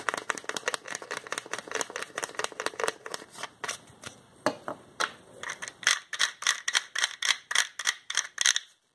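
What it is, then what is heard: Plastic pill bottle. Fingertips twist and click the white plastic cap of a small hollow orange plastic pill bottle and rub along the bottle. The result is a rapid, uneven run of crisp, bright clicks and dry scratchy rubs. The clicks grow louder and more spaced out in the last few seconds before stopping abruptly.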